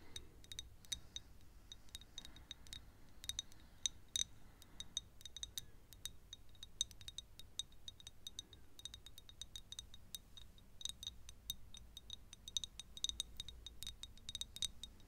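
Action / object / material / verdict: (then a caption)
tap / small glass perfume bottle / glass / none. A small faceted glass perfume bottle with a silver cap, partly filled with yellow liquid, is held in both hands close to the microphone and tapped with long acrylic nails. Quick, bright clicks and clinks with a high glassy ring come in irregular bursts over a faint low hum.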